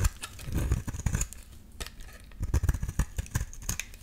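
A solid pink rectangular bar of soap, held in the hand, is shaved into curls with a metal utility-knife blade. The clip is a run of short, soft scraping strokes with a dull, low-heavy texture and faint bright crackle on top. Quieter gaps separate bursts of quick cuts.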